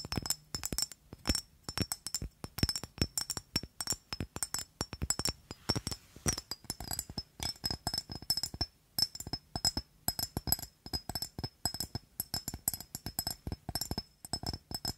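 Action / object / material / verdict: tap / glass perfume bottle, partly filled / glass / none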